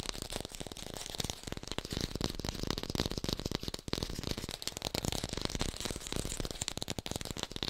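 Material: Plastic.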